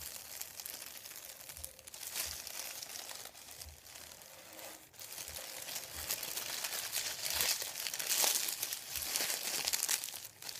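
Fingertips rub, lift and crinkle a thin sheet of printed white paper resting on a wooden table. The result is a steady, bright crinkling and rustling with many small, irregular crackles and almost no low end, growing slightly louder in the second half.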